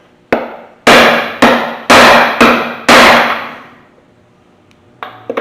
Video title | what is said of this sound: Prepping a junkyard 5.3 LS based engine for a swap | You hear that thud, that dead sound. You got it all the way in.